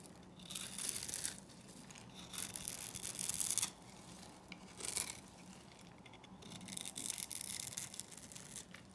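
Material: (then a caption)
Soap. A metal blade scrapes small cubes off a solid rectangular bar of dry green Korean soap that has been scored into a grid. Four separate dry, bright, crumbly scraping passes are heard, with quiet pauses between them.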